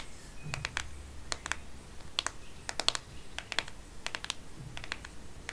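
Long painted nails tap the matte plastic back of a black Microsoft smartphone, held sideways in a plastic case. The taps come in quick, irregular clusters of short, bright clicks that stop at once, with a faint low rumble underneath.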